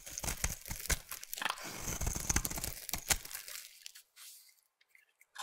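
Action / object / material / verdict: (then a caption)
scrape / bar of soap / soap / none. A solid light blue bar of soap, held in the hand, is scraped into curls with a utility knife blade. The blade gives a dense, crunchy, tearing scrape with bright hiss and sharp louder bursts. The scraping stops just before four seconds, leaving near silence with a few faint ticks.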